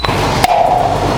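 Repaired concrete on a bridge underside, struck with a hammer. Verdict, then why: Hollow. A hammer taps twice on a previously repaired concrete patch on the underside of a bridge. The second strike leaves a short, hollow ring around 730 Hz over a steady low background hum. The patch is judged hollow: its layers of concrete have separated (delaminated).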